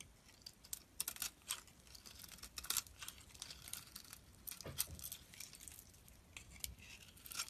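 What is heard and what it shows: A utility knife blade carves and shaves the surface of a hand-sized solid lilac soap bar held in the palm. The clip is made of quiet, crisp, scratchy shaving strokes and short crunchy scrapes, mostly bright and high in tone, with little low end.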